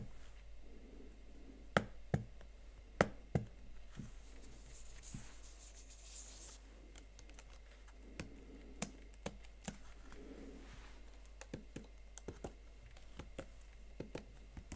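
Fingertips and nails type on the plastic keys of a Huawei MateBook X Pro laptop keyboard, making sharp, dry clicks spaced irregularly over a quiet background. A soft high hiss rises for a couple of seconds in the middle of the clip.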